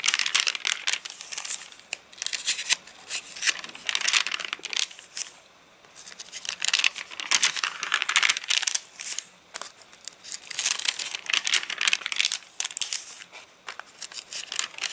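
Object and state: Rain-dried, stiffened paper catalogue page.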